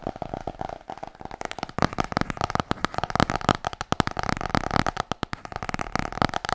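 Long nails tap fast on the cover of a large, solid, glossy hardcover book. The result is a rapid stream of short, dry clicks with a soft low knock under each, and every tap dies away almost instantly. A faint mid-range tone hangs behind the tapping throughout.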